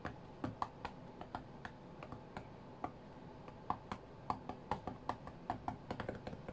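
Fingertips and nails tap on the glass touchscreen of a white iPad lying flat on a mat. The result is a quick, uneven run of short, dry clicks with a light mid-pitched tick near 830 Hz. Each tap dies away almost instantly.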